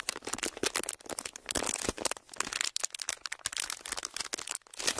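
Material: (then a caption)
Plastic. A pleated, thin clear plastic sheet is stretched, twisted and crinkled by fingers. A dense stream of sharp, bright crackles and crinkles is heard, with almost no low end. Each snap dies away almost instantly.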